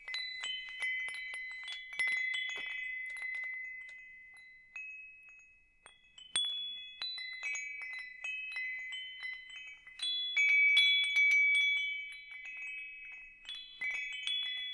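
A hanging wind chime with hollow metal tubes is dangled from one hand and swayed so the tubes and the wooden striker chime. Bright, overlapping metallic tones ring out in clustered strikes, each sustaining about a second before fading. A short lull falls near the middle before the chiming picks up again.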